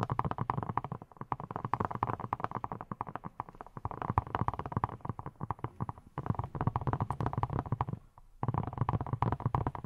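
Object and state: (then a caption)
Silicone pineapple-shaped brush. Long nails rapidly tap and scratch a hand-sized yellow silicone pineapple-shaped brush with a textured surface that appears hollow. The result is a dense stream of soft, muffled, low thuddy taps with a bright scratchy edge. Brief pauses break the stream near 1 second, 6 seconds and 8 seconds.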